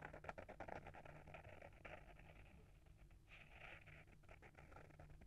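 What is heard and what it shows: Short fingernails scratch the front cover of a small, solid hardcover book with a paper-wrapped board cover, held in hand. Quiet, rapid, uneven scratching and light tapping come in a dense patter of dry, crisp strokes with brighter bursts. A steady low hum sits underneath throughout.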